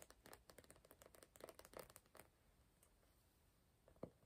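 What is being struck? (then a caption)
Glossy cardboard hardcover notebook. A small, closed hardcover notebook of glossy cardboard with a printed Star Wars comic cover, held in both hands, is tapped and scratched on the cover with fingertips and nails. A quick, dense run of soft, papery taps and scratches lasts about two seconds, followed by near-silence and then one sharper tap near the end.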